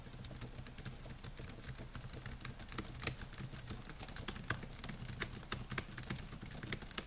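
Fingertips type rapidly on the plastic keys of a silver Dell laptop, producing a dense run of quick, bright clicking taps. The taps sit over a steady low hum.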